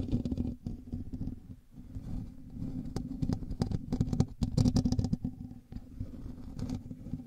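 Both hands scratch the hollow, rounded metal mesh grille of a hand-sized black USB condenser microphone with fingertips and short nails, in direct contact with the recording mic. The result is a dense, boomy low rumble with a steady hum around 250 Hz, threaded with sharp, bright clicks and rasps. The scratching comes in bursts separated by brief near-silent gaps.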